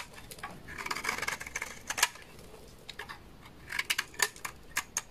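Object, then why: Laundry soap bar cut with a knife blade. A utility knife blade scrapes a large, solid beige bar of dry laundry soap, and the shavings pile up below. The result is a quiet run of dry, crisp, bright scraping and crackling bursts, with a few sharper snaps near the middle and end. Each sound stops almost at once, with no ring.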